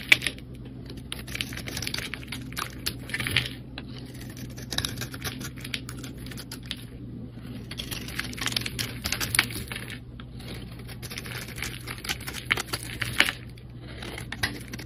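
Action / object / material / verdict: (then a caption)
scrape / solid soap bar scraped with a metal blade / soap / none. A solid cream soap bar with a green and red edge and an embossed face, held in the hand, is scraped with a long metal blade. Dense, crisp, bright scraping crackles come in bursts for about fifteen seconds, with short pauses between strokes, over a faint steady low hum.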